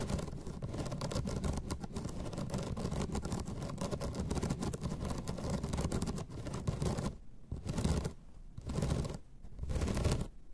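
Long red nails scratch across the slats of a flat bamboo slat placemat, making a dense, rumbling rasp heavy in low tones with fine rattling texture throughout. After about seven seconds the scratching breaks into shorter strokes separated by brief pauses.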